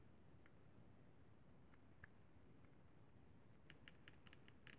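Fingertips and nails tap and scratch the buttons and casing of a hollow silver-white plastic Sony PSP handheld game console. Faint, scattered bright clicks and scrapes sit over a low, steady background hiss. About nine sharper, brief taps cluster toward the end.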